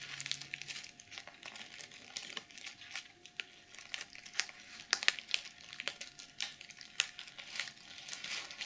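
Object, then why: Plastic sequin pouch. Long nails scratch and rub across the plastic sequins of a small, soft-bodied, reversible BH Cosmetics glitter mermaid sequin makeup pouch. The result is a quiet, bright, crinkly scratching of dense rapid clicks and rustles with sharper ticks scattered throughout.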